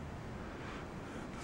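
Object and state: Nothing is struck.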